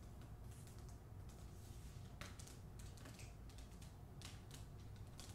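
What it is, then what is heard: Hardcover book with paper dust jacket. Long acrylic nails tap and scratch the glossy paper dust jacket of a hardcover book held in the hands. Quiet, crisp clicks and brief bright scratching strokes sound over a steady low rumble throughout.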